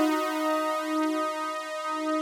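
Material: Nothing is struck.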